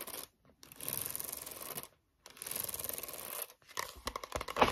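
Long acrylic nails scratch and tap the card cover of a pink A4 spiral-bound notebook, a solid stack of paper held upright on a wooden table. Two sustained bursts of bright, rasping scratching are separated by brief silences. The clip ends with a quick run of sharp, dry taps.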